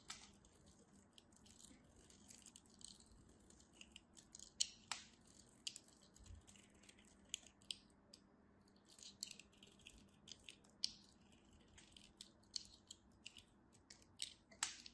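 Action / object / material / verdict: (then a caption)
scrape / bar of soap / soap / none. A thin solid slab of white bar soap, held in fingertips with short blue nails, is carved and scraped with a small craft knife as shavings fall off. Quiet, dry, crisp scratching and snipping sounds come in quick irregular bursts, with most energy in the high, bright range and a faint low hum underneath.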